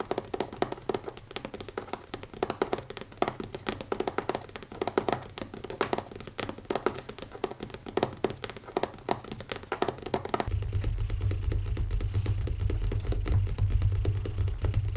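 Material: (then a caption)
Leather. Fingertips with short nails tap quickly on the closed, black textured leather cover of a notebook, making fast, irregular, dull little taps that die away almost instantly. About two-thirds of the way through, a steady low hum rises underneath while the tapping continues.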